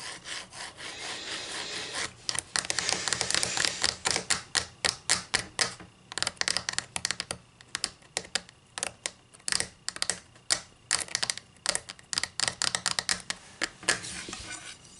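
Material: Wood.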